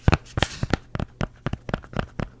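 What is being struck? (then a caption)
Plastic memory card case with rubber insert. A Walmart-brand (ONN) SD memory card case, with a rubber interior that holds a micro SD card and a normal-size SD card in place, is tapped 10 times in a steady rhythm. Each tap is a short, dull, low knock that dies away almost instantly.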